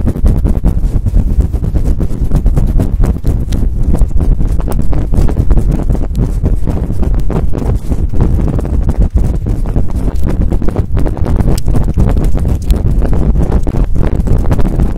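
Very long nails scratch and pluck fast and aggressively at the top of a large, fluffy synthetic-fur microphone windscreen. The result is a loud, dense, continuous stream of low, muffled thumps and rustling rumble that runs without pause for the whole clip.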